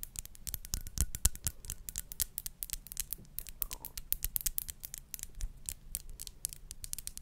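Long acrylic nails tap and scratch along the facets of a small, clear, faceted glass perfume bottle with a silver ring-shaped cap, held close to the mic. Dense, rapid clicks and scratches run throughout, each a sharp, bright tick that dies almost instantly, over a soft low rumble.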